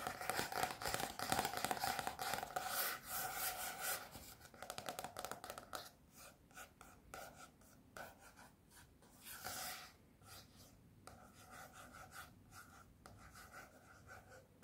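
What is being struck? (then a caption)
Softcover book with glossy card cover. Fingertips and nails scratch and tap the glossy printed card front cover of a large softcover calligraphy book. A dense, continuous stretch of bright scratching gives way to quieter, separated fast taps and short scrapes.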